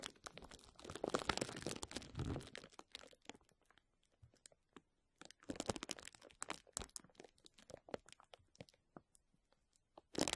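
Fingertips scratch and squeeze clear plastic bubble wrap laid over a microphone, producing dense, bright crinkling and crackling with sharp snaps. The crackling comes in two long bursts separated by a quieter stretch of sparse clicks, then a short final flurry.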